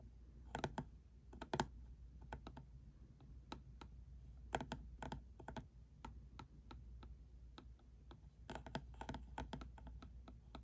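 Fingertips and nails tap the red top of a small, closed, hollow printed cardboard ink cartridge box sitting on a felt mat, while a plastic pen also touches it. The result is quick, dry, hollow taps that come in bursts with short pauses, each dying out almost instantly over a soft low hum.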